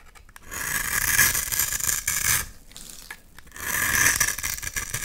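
A utility knife blade scrapes gritty shavings off the surface of a solid, hand-sized oval bar of black soap. Two long, bright, rasping strokes are heard, separated by a brief quieter pause. Each stroke has a fine, grainy crackle as the shavings come away.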